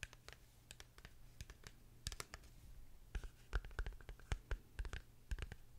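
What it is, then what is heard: Cardboard box lid tapped and scratched. A small, hollow, dark matte rectangular cardboard gift box lid is held close to the microphone and tapped and scratched with long fingernails. Quick, dry clicks and brief scratchy strokes with bright edges come in an uneven run, growing louder and denser in the second half, over a steady low hum.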